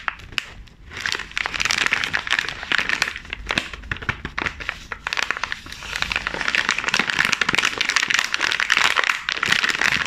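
A sealed, full, flexible glossy plastic film package of sandwich cookies, about 20 cm long, is held and squeezed in black nitrile-gloved hands. It produces dense, bright crinkling and crackling that runs continuously for ten seconds, with sharp, quickly fading snaps and little low end. The crinkling grows slightly louder and busier in the second half.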